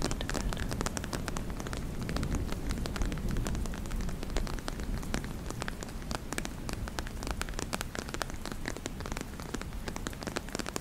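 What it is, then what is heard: Clear plastic cosmetic bag. Long nails tap and scratch the crinkly surface of a medium-size transparent PVC makeup pouch with a beige checkered print, held against the chest. Dense, irregular crackling taps and scratches run steadily throughout, with a strong low rumble beneath sharp, brief clicks.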